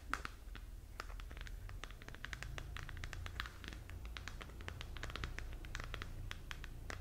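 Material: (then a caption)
Plastic. Long nails scratch and tap the textured surface of a glowing, hollow plastic galaxy moon lamp held in both hands. Dense, quick, dry clicks and scrapes come in a steady run, with a bright, crisp edge over a constant low rumble.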